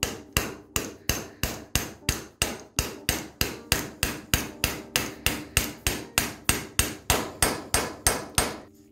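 A hammer with a metal head and wooden handle knocks a hand-sized solid steel tripod (spider) bearing, held in a gloved hand, to drive it onto the end of a car driveshaft clamped in a vise. About 26 sharp, bright metallic knocks come at a steady pace, each with a very short ring. The part is gradually driven onto the shaft.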